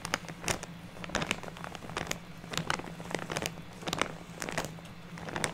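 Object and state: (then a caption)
Plastic bag of artificial snow. Fingertips and nails rub and scratch across a large purple-printed plastic bag full of white fake snow fiber, hands laid flat on the bag. The result is a run of dry crinkling and scratchy crackles in uneven bursts, over a faint steady low hum.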